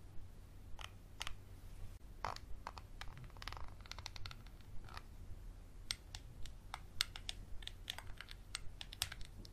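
A small textured glass bottle with a black cap, held upright and sideways, is tapped and scratched with a Sharpie marker and fingernails. Sharp, bright clicks and taps come at an irregular pace, mixed with short scratchy rasps over a steady low hum.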